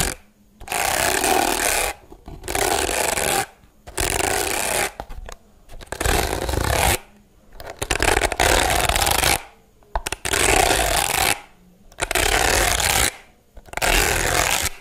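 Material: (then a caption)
Plastic. Long blue nails scratch and rub the white plastic bristles of a handheld, pink-rimmed plastic hairbrush. The result is a broadband, bright rasping in repeated bursts of about one to two seconds, separated by short silences.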